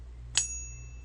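A .999 fine silver bar resting in a pocket pinger ping-test device is struck once with the beating stick and gives a bright, high-pitched ring. A clear tone near 2.7 kHz lingers after the hit over a steady low hum. The test works, and the bar rings out clearly.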